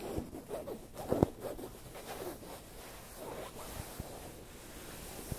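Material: Fabric.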